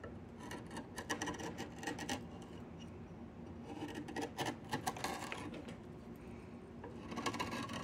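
A yellow-handled chisel shaves and scrapes the surface of a solid diamond willow walking stick with repeated strokes. Each stroke gives a quiet, dry rasping scrape with a bright edge, coming in short uneven bursts over a steady low hiss.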